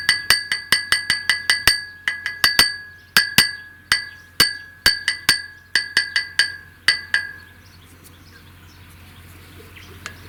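A handmade clay ball, dried in the shade for a week, is knocked on wood, concrete and metal as a strength test, giving more than twenty sharp, bright knocks that each ring briefly with a clear tone. The knocks stop after about seven seconds, leaving a faint low hum and one small tap near the end. The ball sounds good and has no cracks.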